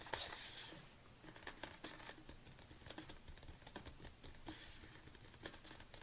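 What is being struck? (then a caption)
Plastic supplement tub. Long nails tap quickly on the front and sides of a large red plastic BCAA supplement tub. A brief bright rustling burst opens the clip, then quiet, crisp clicking taps follow at an uneven pace over a low, steady hum.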